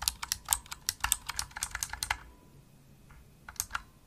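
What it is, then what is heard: Plastic mechanical keyboard typing. Fingertips with medium nails type fast on a pink full-size plastic mechanical gaming keyboard, a Razer Huntsman with hollow-shelled keys and RGB backlight. About sixteen sharp, bright clicks come in a quick run, then a short pause, then a few more keystrokes near the end. The clicks are crisp and high with very little low end and almost no ring.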